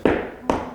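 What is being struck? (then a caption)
Particle board lap desk. Two knocks on the surface of a Huanuo lap desk give short, dull, mid-pitched taps with little low-end weight and a quick decay. The tone suggests particle board rather than the solid wood of another desk.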